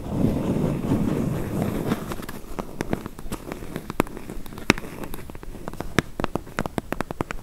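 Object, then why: Closed corrugated cardboard box. Long nails scratch and tap the lower corners and edges of a medium, closed, hollow corrugated cardboard box. A dense, rustling scratch fills the first two seconds, followed by an irregular series of sharp, dry, bright taps with a hollow low body. The taps ring very briefly and are scattered over a quieter scraping background.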